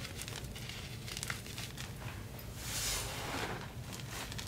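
Fingertips and palms rub and crumble orangey red dyed SPRI gym chalk (magnesium carbonate), a powder with small crumbs, letting it fall back onto the pile. A soft, dry crinkling and gritty hiss runs steadily throughout, swelling brighter and louder around the third second before settling back, over a faint low hum.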